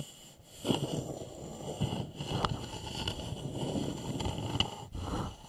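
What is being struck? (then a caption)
Upturned wooden bowl. Fingernails of both hands scratch and tap the sides of an upside-down, hollow, polished wooden bowl. A steady dry scratching rustle, mostly low and woody, is broken by a few short, sharp taps that die away almost at once.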